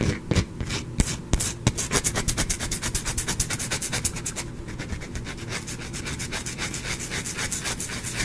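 Fingernails rapidly scratch a small, partly carved solid white-cream bar of soap held in one hand, making a steady run of dry, raspy strokes with bright, crisp edges over a low rumble. Soap shavings pile up on the cloth below.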